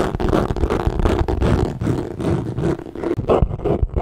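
A hollow, bright green leather handbag with chain hardware is held up and scratched and tapped with fingertips. It produces dense, muffled scratching and soft taps, mostly low-pitched with almost no high-end brightness.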